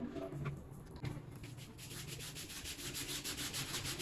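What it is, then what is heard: Wet fabric door mat being scrubbed. A small, flat, rectangular brown synthetic fabric door mat, wet and soapy, lies on a plastic-covered floor. It is scrubbed with the stiff plastic bristles of a green push broom in repeated back-and-forth strokes. Rapid, rhythmic bristly scratching and wet rubbing build steadily, with a bright hiss over a low thudding undertone.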